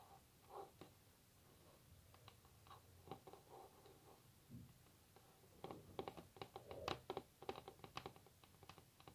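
Long natural nails rapidly tap on a solid varnished wooden tabletop, making quiet, short, dry clicks with a hollow woody body. The taps come in scattered clusters at first and grow denser and louder in the second half.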